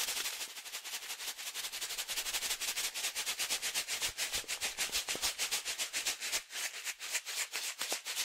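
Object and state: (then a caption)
Foil-lined coffee bag being shaken. A medium resealable green and yellow foil-lined plastic coffee pouch, filled with coffee, is held in one hand and shaken vigorously. It gives a fast, steady run of bright, crunchy crinkling and rattling bursts with almost no low end. The shaking eases briefly around the six-and-a-half-second mark before picking back up.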